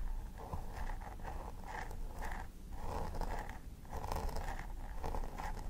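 A thin wooden stick scratches and picks along the scalp parting of a plastic doll head with synthetic hair, while the fingertips and nails of the other hand press and part the hair. The result is a steady run of soft, crisp scratching strokes with a midrange rasp, repeating in short bursts over a low background rumble.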